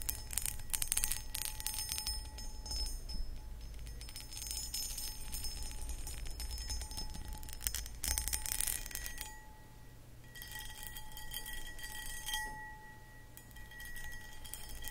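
Long acrylic nails scratch and tap the cut pattern of a medium, hollow, empty cut crystal glass footed pedestal bowl. The result is dense, bright, rasping scratches and light clicks, with a steady glassy ring near 800 Hz and 1.9 kHz that lingers beneath them.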